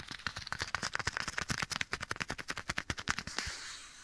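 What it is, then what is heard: Leather glove. Bare fingertips quickly rub and scratch a black leather glove worn on a hand, held close to the right side of the microphone. About 23 sharp, dry, bright scratches come in rapid succession. They end in a brief, softer, hissy rub that fades out.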